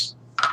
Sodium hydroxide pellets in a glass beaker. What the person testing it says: as I shake this beaker around, you can see that they look and they sound very dry. Just dry white pellets.